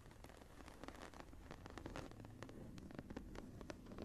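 Long nails scratch the raised geometric embossing near the top edge of a closed embossed leather journal lying flat. The result is a quiet, steady scratching with many quick, crisp ticks over a soft, low background hum.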